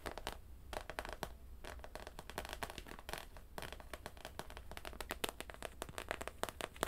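Long nails tap and scratch on the clear, hollow plastic dome helmet of a pink plush bear in a space suit. The result is a quiet, dry stream of rapid, bright clicks and scratchy scrapes with no ring, over a faint steady low hum.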